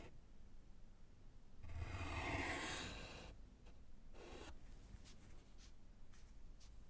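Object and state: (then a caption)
Chalk writing on a wood-framed slate board. A gloved hand writes with yellow chalk on a small, solid slate chalkboard in a wooden frame. One long, bright, broadband scratching stroke swells and fades over about a second and a half, followed by a shorter scrape and a few faint, quick chalk taps and strokes over a low, steady background rumble.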